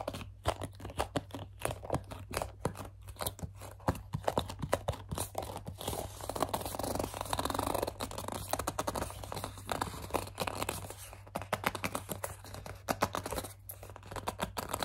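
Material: Plastic.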